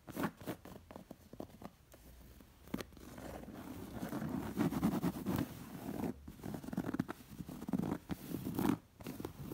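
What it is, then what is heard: Embroidered cotton pillow. Long nails scratch and trace across the dense floral embroidery and fringe edge of a round, stuffed, embroidered cotton pillow. The result is soft, muffled rasping and scratching, centered in the low-mid range with little brightness. Quick strokes and brief louder scrapes rise and fall throughout.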